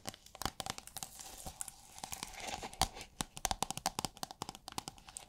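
Long nails scratch and tap a holographic plastic sheet rolled into a thin iridescent plastic film tube. Quick, sharp crinkly clicks mix with brief scratchy swishes, each hit dying almost at once. A faint tone near 770 Hz runs under the bright, papery crackle.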